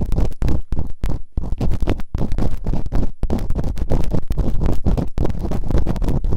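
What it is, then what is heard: Silicone ear microphone being scraped. Bamboo earpicks, held in fingertips with long nails, scratch and rub fast inside the open canals of the two soft, solid rubbery silicone ear models on a white binaural microphone. The result is a dense run of close, muffled scraping and thumping bursts, heavy in low rumble, with short gaps between strokes.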